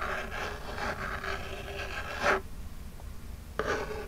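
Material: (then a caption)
Cardboard. Long jeweled nails scratch and rub the front of a small, flat, hollow printed Birchbox cardboard box. A steady dry, raspy rubbing builds to a louder scrape, then after a brief quiet pause a second short bright scratch follows.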